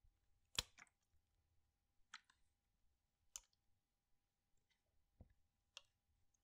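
A clear PET water bottle with a blue cap, partly filled with water, is tilted and shaken in one hand while fingertips and nails press on the plastic. Five quiet, sharp, bright clicks stand out against faint low rumbling and softer ticks, and each one dies away almost instantly.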